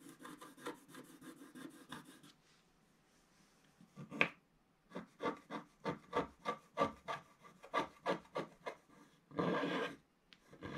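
A wooden stick scratches the coating off a black scratch-art paper page while the other hand holds the page flat. A quick run of soft, dry rasping strokes is followed by a brief quiet gap, one sharper scrape, and then a steady series of short, crisp scratches. A longer, denser scrape near the end fades into a few faint strokes.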